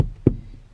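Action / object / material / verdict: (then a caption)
tap / car floorboard, sheet metal / sheet metal / solid. Three short, dull knocks on a car's sheet-metal floor pan, tapped to find a solid spot rather than a hollow one. Each tap is a brief, low thud that dies out almost at once. The spot sounds solid and sturdy, suitable for drilling the bolt holes for a seat harness.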